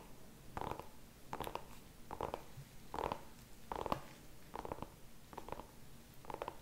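A small, whole, kabocha-like orange pumpkin with a stem, solid and firm-skinned, is held in both hands while fingertips and nails tap and scratch its skin. The result is eight quiet, evenly spaced bursts of dry, dull tapping and scratching, each with a midrange tone near 1 kHz that dies away almost at once.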